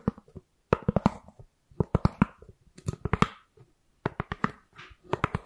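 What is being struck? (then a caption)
Styrofoam round lid. A white ribbed round styrofoam lid, held in one hand next to the microphone, is tapped and scratched with long nails. Quick bursts of short, dry, hollow taps come in clusters, separated by brief soft scratchy rustles and moments of silence.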